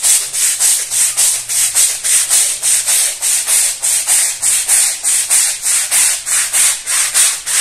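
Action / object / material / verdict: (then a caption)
scrape / woven fabric rug scrubbed with a plastic-bristle brush / fabric / none. A long-handled plastic-bristle scrub brush scrubs back and forth across a small, fringed woven fabric rug that lies flat on a stone-tile floor, muddy and soapy. Steady, rhythmic strokes make bright, high scratchy swishes, each rising and fading in an even back-and-forth pattern with almost no low end.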